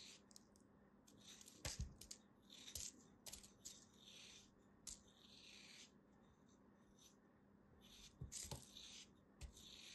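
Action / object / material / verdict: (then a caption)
scrape / kinetic sand lump / kinetic sand / none. A small black knife cuts into and crumbles a solid beige lump of kinetic sand held in the fingers. Soft, bright, grainy rasps and crumbling sounds are broken up by short, sharp clicks and ticks as the knife cuts through. A faint steady low hum sits underneath, and the sound stays quiet and close throughout.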